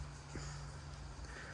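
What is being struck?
Nothing is struck.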